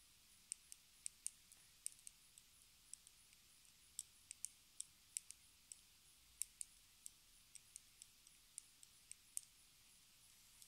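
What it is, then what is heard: Plastic lipstick tube tapped with nails. A small, square, hollow pink plastic lipstick case, held horizontally, is tapped with long red acrylic nail tips. About 27 quiet, sharp, bright clicks come at an uneven, unhurried pace. Each dies away almost instantly over a faint hiss.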